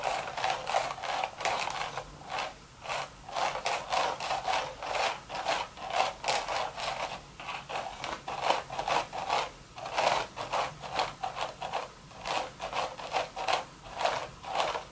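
Long red nails rub and scratch across the crown of an empty, hollow woven straw hat. The result is a steady run of short, dry, raspy strokes with a midrange scratchy core around 900 Hz and bright hiss on top. There is almost no low end.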